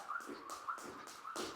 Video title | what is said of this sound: 5 Movements to Learn FAST Before the Open (2025!) | if you can't hear that rope clicking the ground that means your rope is probably too short